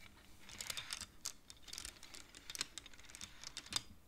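Fingertips and nails of both hands slide the colored wooden beads along the metal rods of a large wooden-framed abacus. The result is a quiet, irregular stream of short, bright wooden clacks that stop dead with no ring.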